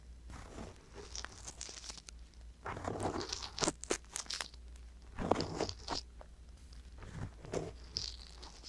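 A wooden-handled metal ear pick scratches inside the ear canal of a soft silicone ear mounted on a hollow white binaural microphone body. Close, dry scratching and crunching comes in irregular bursts of bright crackle and rustle, over a steady low hum.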